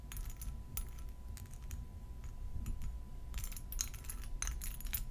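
A faceted purple glass perfume bottle filled with liquid is held in both hands and tapped and scratched with long gold metal nail claws. Bright, clicky ticks and short scraping sweeps come in irregular bursts over a steady low rumble, each tap dying away almost at once.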